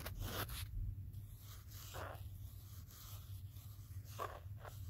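A pen tip held in the fingertips traces and taps across the back of a small, solid smartphone in a teal plastic case, with the phone itself doing the recording. Quick scratchy, zipper-like strokes with bright, hissy edges flare up in short bursts. A steady low hum runs underneath.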